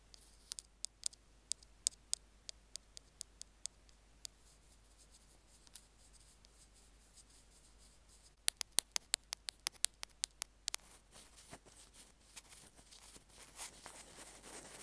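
Two metal ear-pick tools tap and scratch the casing of a small white plastic Apple earphone mic/remote, making 29 short, bright clicks with almost no low end. The taps come spaced out early on, then in a quick, dense cluster after a pause, before giving way to a soft, rising scratching toward the end.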